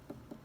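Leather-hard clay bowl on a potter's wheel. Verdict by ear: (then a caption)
Thick. Two dull taps on the centre of a leather-hard clay bowl being trimmed on a potter's wheel, each a low, muffled knock that fades quickly. The sound shows the bottom of the bowl is still too thick, so more clay needs to be trimmed away.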